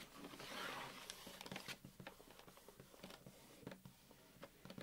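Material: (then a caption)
Cardboard. Fingertips and nails tap and drum on the front face and side of a closed, medium-size yellow Nilla wafers cardboard box, hollow and likely full of wafers, standing on a crocheted tablecloth. A soft, crinkly swell opens the clip, followed by about a dozen quick, irregular, dry taps with short, bright clicks.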